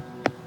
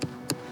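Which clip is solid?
The second.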